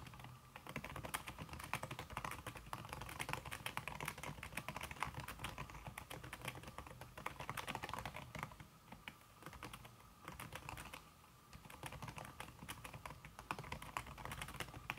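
Fast fingertip typing, with red-painted nails, on a slim backlit aluminum keyboard whose keys are covered by a red silicone skin. The result is a dense, continuous stream of soft, muffled clicks with brief dips in pace around 9 to 11 seconds.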